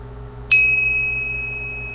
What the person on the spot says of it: It's a nice solid sound, but its pitch is much lower compared to this steel one.